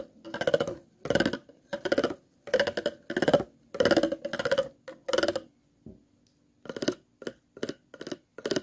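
A thin plastic stick is scratched across the grooves of an empty, hollow, clear ridged plastic water bottle with a green label. It makes a series of short, raspy ratcheting strokes with a hollow, resonant midrange tone, separated by brief pauses and a longer gap near the middle.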